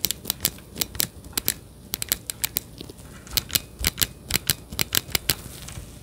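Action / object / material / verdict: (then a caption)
tap / plastic handheld game controller grip / plastic / none. Gloved fingers press and click the buttons of a hollow, handheld-size plastic Joy-Con controller grip for the Nintendo Switch, held beside the microphone. About two dozen sharp, bright plastic clicks come at an irregular pace, each ending almost instantly over a quiet background.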